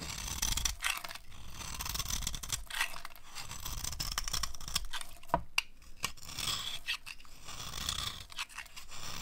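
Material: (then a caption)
Soap. A metal blade scrapes gold paint and shavings off a Duru soap bar held in the hand. The bar is dry and solid white inside. Steady dry, crunchy scraping runs in short strokes with bright, gritty high-frequency texture and a low rumble beneath, broken by brief pauses between passes.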